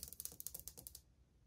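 A single long index fingernail taps on old, glazed white ceramic subway tiles on a wall, near the grout line of the solid surface. It makes a quick series of sharp, bright clicks that stop dead with almost no ring, then fall to a faint low hush.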